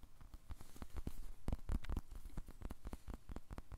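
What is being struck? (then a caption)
Polyurethane foam squishy toy. A small, blue, solid soft polyurethane foam squishy toy is squeezed and tapped with short-nailed fingertips close to the microphone. The result is a quick, irregular series of soft, dull, low thumps with faint crackly texture, each dying away almost instantly.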